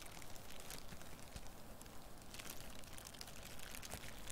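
Crumpled clear plastic wrap, a loose, light sheet held in one hand close to the microphone, is squeezed and scratched with long nails and fingertips. It gives a steady, dense crinkling with many small sharp crackles over a low, soft rumble. The sound stays fairly even and quiet throughout.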